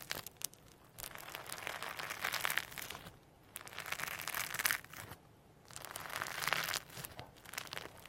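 A firm lump of sequin-packed hologram slime on a white table is pressed flat, stretched and folded with the fingertips of both hands. It produces dense, bright crinkling and crackling in several long bursts separated by short quiet pauses, with almost no low end.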